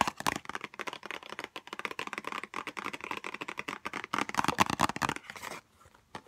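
A small white Chanel No5 cardboard box, held in both hands, is tapped quickly with long nails. The result is a fast, steady run of short, dry, hollow clicks centered around 1 kHz with a bright edge. The taps stop just before the end, leaving a brief near-silence before a final soft tap.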